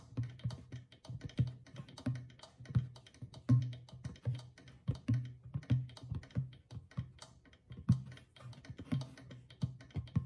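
A small hollow clay drum with a stretched goatskin head, held at the side, is tapped quickly on the skin near the rim with long fingernails. A dense, uneven stream of short taps sounds, each a low hollow thump with a brief bright nail click that dies away almost at once.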